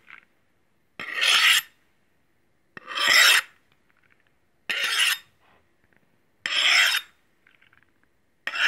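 A stainless steel meat cleaver, held in hand, has its blade scraped along a steel honing rod in six rasping strokes, about one every two seconds. Each stroke is a bright, hissing metal scrape centered in the upper mids and reaching very high. Faint ticks fill the quiet gaps between strokes.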